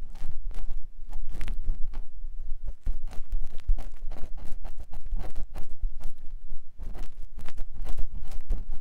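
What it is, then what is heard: Silicone ear pick rubbing inside a silicone microphone ear. A clear silicone ear pick with a yellow handle scratches and rubs inside the canal of a white silicone ear mounted on a binaural microphone block. The result is a steady run of close, muffled scraping and rubbing bursts, dominated by a deep low rumble around 70 Hz. Faint, brief bright streaks mark each stroke, and the strokes die away almost instantly.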